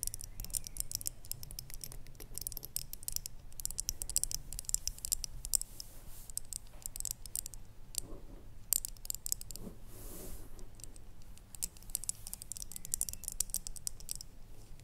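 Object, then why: Small ribbed ceramic jar with lid. Long painted fingernails tap and scratch a small, hollow red ribbed ceramic jar with a lid, held on a wooden table. Quick, crisp clicks and dry scratching rattle on and off throughout, bright and sharp in the highs, over a steady low hum. A brief quieter stretch comes near the middle before the tapping picks up again.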